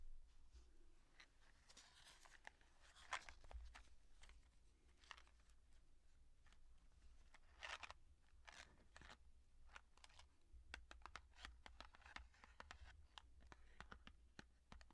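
A small, hollow, yellow printed cardboard box of cook's matches, still holding its matches, is held in both hands and tapped and scratched across its printed surface with long dark-painted nails. The result is a quiet run of sharp, dry clicks and bright papery scratches and crunches, with a steady low hum underneath.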